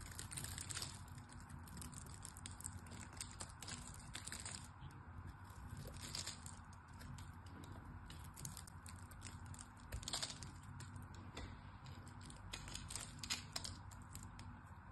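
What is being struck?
Soap bar.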